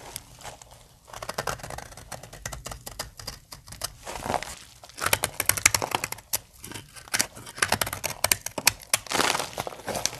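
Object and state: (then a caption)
Dry soap bar. A solid pink dry soap bar is cut with a utility knife blade, chunks and shavings cracked off by the blade and fingers. Dense, bright crackling and crisp snapping bursts repeat throughout, with short dry crumbling and scraping textures between them.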